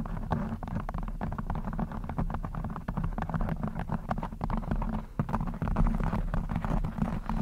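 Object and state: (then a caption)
Knit fabric microphone cover being scratched. Long blue acrylic nails scratch a black textured knit fabric cover stretched over a rounded microphone head, soft over a hollow mesh. The result is a dense, muffled rustling of quick scratching strokes, heavy in low rumbling tones with almost no bright edge, running steadily throughout.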